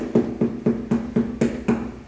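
Seven even knocks on a watermelon, each a flat, dull thud around 230 Hz that dies away quickly with no ring or reverb. This failed knock test means the melon is either underripe or overripe and mushy.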